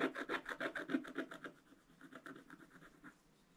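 A wooden stylus makes steady, rapid scratching strokes across the black coating of a flat scratch-art paper page. The dry, rasping strokes repeat about three times per second, louder during the first second and a half and then softer and sparser.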